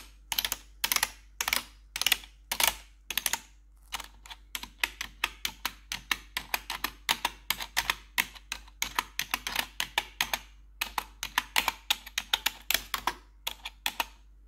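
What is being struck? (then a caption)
Plastic computer keyboard keycaps. A gloved hand wearing metal claw nails taps across the keycaps of a black plastic RGB backlit computer keyboard. It makes a rapid, uneven series of sharp, bright clicks in quick bursts with brief pauses between them. Each click dies away almost instantly, with little low end.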